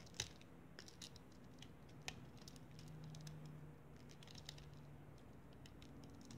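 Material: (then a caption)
Sand. A handful of pink kinetic sand is squeezed and crumbled between bare fingers above a foil plate, with grains falling back onto the pile. It makes a quiet, soft crackly patter and scratching, broken by a few sharp, bright ticks over a steady low hum.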